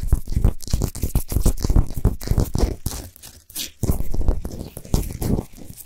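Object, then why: Rock salt sphere lamp. Long nails scratch quickly across the sides and top of a large, solid Himalayan salt sphere lamp that is lit from inside. The rasping, crunchy strokes come in fast, irregular bursts with a heavy low rumble and a bright, gritty edge. The scratching briefly quiets around the middle before picking back up.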